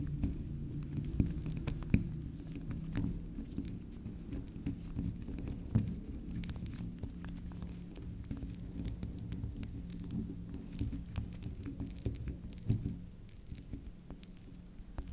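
Long acrylic nails scratch and tap the face and edge of a small, solid, round pink swirl bar soap held on its side. Quiet, dense patters of scratching and tapping run over a steady low hum, with a few sharper, brighter clicks standing out near the start and again later.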